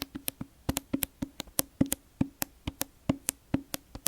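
Fingers tap up and down the spine and cover of a hardcover library book with a sticky plastic cover, making 20 quick, dry knocks in an uneven rhythm. Each tap carries a short hollow tone near 266 Hz and dies away almost at once.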